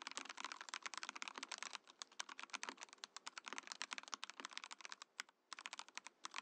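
A compact Mojo68 mechanical keyboard with a clear acrylic case and cream and orange plastic keycaps is typed on continuously with the fingertips of both hands. It gives a fast, steady stream of short, bright, dry clicks and clacks with almost no low end, pausing briefly just before the end.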